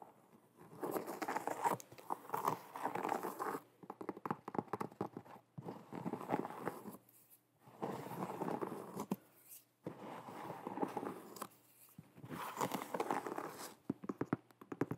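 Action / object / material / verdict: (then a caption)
scrape / leather sneaker with rubber sole / leather / none. An empty, hollow blue and white leather low-top sneaker with a rubber sole is held in hand while long nails tap and scratch across its leather upper. Dense bursts of quick, dry scratching and tapping come in several stretches separated by short pauses, with most of the sound in the mid range.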